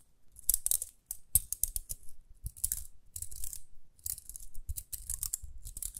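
Long nails flick and scratch the toothed rim of a small round pink plastic hair brush with dark bristles, held close. Quick bursts of bright, crisp plastic clicking and scratching come in clusters over soft low thumps, each click dying away almost instantly.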